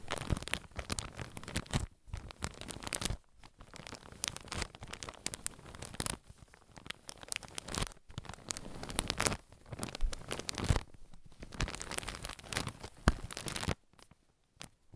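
A clear, soft plastic bag full of white cotton pads is squeezed and crinkled with fingertips and nails, giving dense, broadband crackling and tearing-like rustles. The bursts of crinkling are broken by a few short silent gaps and end with a quieter pause near the close.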